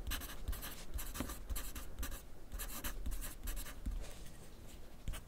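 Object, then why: Graphite pencil on paper sheet on clipboard. A wooden graphite pencil is drawn across a thin grid paper sheet clipped to a flat clipboard on a desk while writing. Repeated short bursts of bright, dry scratching come in quick strokes, with soft low taps beneath them throughout.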